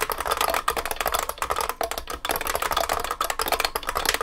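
Both hands type continuously with their fingertips on a large vintage beige IBM 3278 beam spring keyboard with plastic keycaps and a metal case. A rapid, steady stream of sharp, clacky keystrokes rings briefly with a bright, high ping and little low end.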